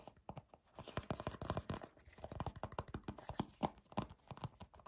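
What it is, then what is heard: Plastic squeeze tube. A small, hollow white plastic squeeze tube from The Inkey List with a printed label is gripped, rubbed and scratched by fingers with short dark nails. The result is a fast, uneven run of short, dry crinkling taps and scrapes with a hollow mid-range tone and little high end, each dying away almost instantly.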